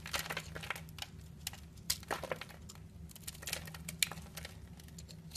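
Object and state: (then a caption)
Bar soap being scraped and cut. A utility knife blade scrapes across a solid purple bar of soap with a pre-scored grid, held in the palm, and cuts off small cubes. Dense, crisp crackling and scraping fills the clip, broken by sharp, bright snaps as pieces break away, over a faint low steady hum.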